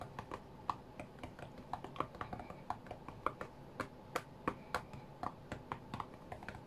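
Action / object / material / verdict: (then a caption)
tap / glass touchscreen tablet / glass / none. Fingertips with short-to-medium nails rapidly tap the glass touchscreen of a flat white iPad lying on a cutting mat while playing a rhythm game. About thirty quick, dry clicks sound in an uneven rhythm, each with a short bright tick centred near 1.2 kHz and almost no ring, over a quiet low background.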